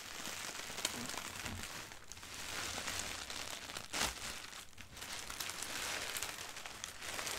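Hands and a sweater sleeve rub over a thin white printed tissue wrapping paper sheet while nails scratch across it. The result is a steady, bright, dense crinkling and rustling with a brief louder crackle about midway.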